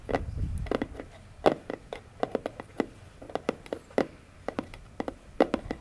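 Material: Cardboard.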